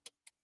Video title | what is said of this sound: 📷How To: Easy Acrylic Ombre & Encap Charms Valentine Nails Design w/ Acrylic Powder, Charms💋💕 | This one is good, but it still need a little bit more. It's still setting.